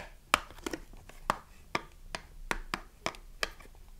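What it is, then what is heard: Cardboard soap box. Long nails tap and scratch the printed cardboard on the back of a small, closed cardboard soap box with the bar still inside. The result is a series of short, dry, crisp clicks with a bright edge, separated by a soft papery scratching between taps.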